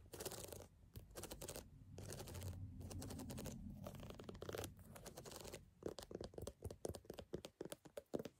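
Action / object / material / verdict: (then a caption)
scrape / rubber sneaker sole / rubber / none. Long fingernails scratch and tap along the deep ridges of a solid, brown gum-rubber outsole on a canvas sneaker held up close. Dry, rasping scratch strokes come in bursts for about six seconds over a low, rumbling undertone, then give way to a quick run of short, crisp taps and ticks.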